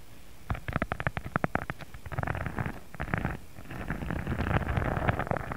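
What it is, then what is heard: Textured faux leather sheet being scratched. Fingertips scratch and rub across a thin pink embossed faux leather sheet lying flat. It opens with a run of quick, separate dry scratches, then turns into denser, continuous rubbing. The sound is muffled and low-heavy, with little bright content.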